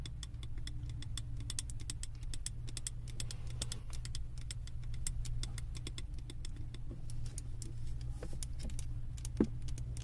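Long nails tap rapidly on the sides of a wax-filled glass candle jar held in both hands, then move toward its base. The many quick, bright, short clicks sit over a steady low hum.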